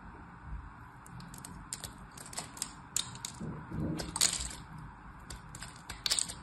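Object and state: Soap bar being cut into cubes.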